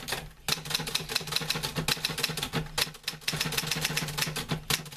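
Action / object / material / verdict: tap / metal manual typewriter / metal / none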